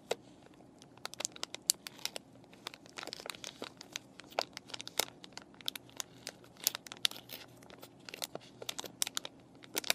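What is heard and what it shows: A clear plastic and cardboard paintbrush package with brushes inside is scratched with fingernails and crinkled by fingers. Dense, bright crackles and sharp ticks come in quick bursts over a faint, steady hiss. The sound is quiet, with almost nothing in the low end.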